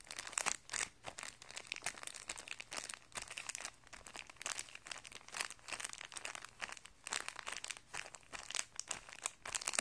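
A thin, clear plastic packet of guitar strings, holding a printed paper card and coiled metal strings, lies flat and light on carpet while an open hand and fingertips press and crinkle it. The result is a dense, continuous stream of sharp, bright crinkles and crackles, mostly high-pitched with almost no low end. Each crackle stops instantly with no ring, swelling and easing in busy bursts throughout.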